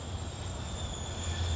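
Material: Nothing is struck.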